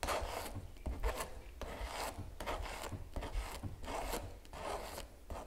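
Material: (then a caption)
Canvas. A small metal palette knife scrapes and scratches gel across the painted animal on a large stretched canvas giclee print lying flat. Irregular, rasping strokes repeat over a steady low rumble, each one a short, dry scratch that dies away quickly.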